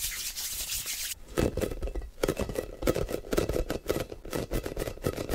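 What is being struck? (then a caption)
Hollow plastic ball. A blue, hand-sized, hollow plastic air ball with a football pattern is held in both hands while fingertips and short nails quickly grip, squeeze and tap its surface. The clip opens with about a second of bright, hissy scratching, then shifts to a fast, irregular run of hollow, mid-pitched taps and squeezes with short rubbing sounds between them.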